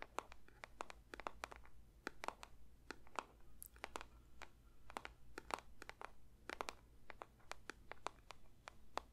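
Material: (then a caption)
Paper. A paper box is lightly tapped with the fingertips for ASMR, producing a quiet, irregular stream of short, dry taps with a crisp, papery click that reaches into the high range. A steady low hum sits underneath the whole time.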